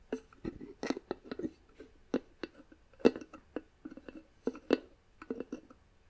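Long nails scratch and tap across the flat wooden lid of a box with a small wooden knob. The result is a quiet, irregular string of short, dry clicks and brief scratchy rubs with a woody, midrange tone and almost no ring.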